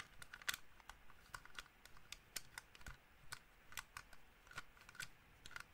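A small black plastic gaming mouse with a hollow shell is held in one hand and tapped and scratched with the fingertips and nails of the other. Quick, dry, clicky taps sound irregularly over a faint scratching bed. Each tap is bright with a short hollow ring that dies away almost instantly.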